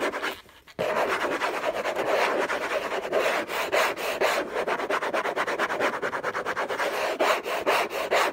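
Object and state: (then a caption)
Cardboard gift box being scratched. Fingertips and nails scratch the lid of a hollow orange cardboard gift box covered in textured paper. After a brief quiet moment at the start, a dense, rapid, irregular scratching begins and continues without pause, with a papery midrange rasp and bright hiss.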